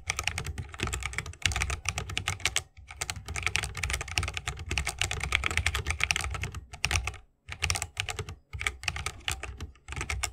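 Fingertips of both hands type rapidly on a 60% mechanical keyboard with a bamboo wood case, plastic keycaps and Holy Panda tactile switches. A dense stream of short, bright clacks with a deeper thocky body runs throughout, broken by a few brief pauses.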